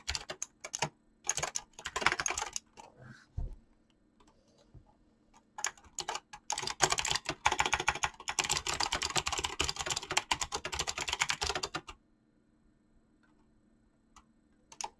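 Fingertips with painted nails type on a mechanical keyboard with clicky switches and PBT plastic keycaps. Bursts of fast, bright, crisp key clicks come in uneven runs, with the longest stretch of rapid typing from about 6 to 12 seconds. The typing then stops, leaving a faint steady low hum and a few isolated clicks near the end.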